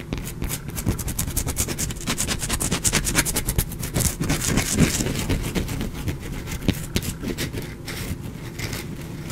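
A small, solid, pale bar of soap is held in the fingers and scratched with fingernails, dropping shavings below. The clip is a steady run of quick, irregular scraping strokes with a bright, gritty rasp over a dull, low body.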